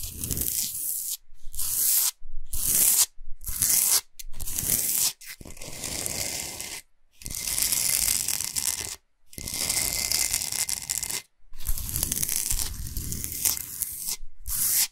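Long nails scratch and tap across the surface of a large, flat, solid Himalayan salt block. Fast, gritty, tearing scrapes come in bursts separated by brief silences, with a bright, hissy high end over a low rumble.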